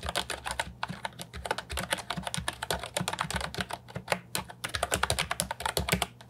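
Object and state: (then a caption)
Plastic keyboard with round keycaps. Fingertips type quickly on a compact Ajazz 308I keyboard with round, typewriter-style plastic keycaps, resting on a wooden desk. A steady stream of short, bright plastic clacks is heard, each with a soft low thump underneath. The keystrokes overlap into a fast, uneven rhythm with no lingering ring.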